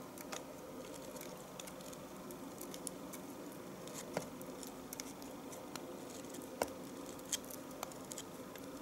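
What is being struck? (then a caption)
Bar of household soap. A knife shaves thin strips from the end of a solid bar of household soap held horizontally. A steady, quiet scraping hiss runs throughout, broken by sharp, bright little clicks and ticks as the blade cuts through the soap.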